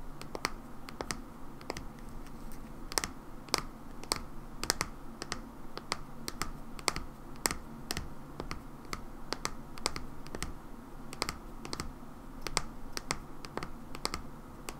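Long nails tap the bottom and body of a mauve plastic hair cream bottle held sideways. The taps come as a steady, irregular run of short, sharp, bright clicks that die away almost instantly, over a low, constant background rumble.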